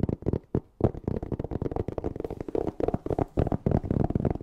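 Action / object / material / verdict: tap / hard-shell EVA zipper case / EVA foam / none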